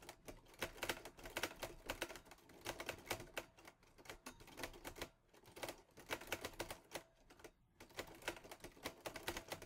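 Fingertips type on the keys of a teal metal Olivetti Lettera 22 portable typewriter, producing bursts of rapid, crisp, bright clacks with short pauses between runs. Each strike snaps off quickly with almost no ring, and there is little low-end weight.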